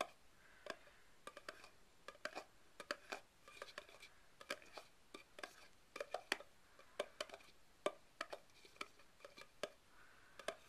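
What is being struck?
Plastic party cup.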